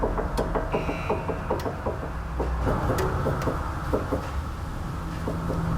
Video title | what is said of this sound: BAD SWAY BAR LINK SOUND! - Simple-Fast-Professional-DIAGNOSIS | that's all I need to know that this sway bar is worn out and ready for replacement